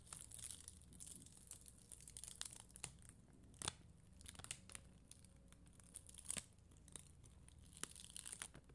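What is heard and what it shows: A red and clear acrylic rhinestone sticker sheet is scratched with a plastic spoolie brush, with long green nails resting on the sheet. Soft, bright crinkly scratching and crackling runs throughout, broken by sharper clicks and snaps. A faint low hum sits underneath.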